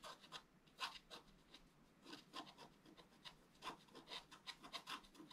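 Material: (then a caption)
Coated paper. A wooden stylus rubs and scrapes across a flat black coated scratch art paper board. It makes a quick series of short, dry scratching strokes with bright, hissy texture and little low end, each stroke fading almost at once.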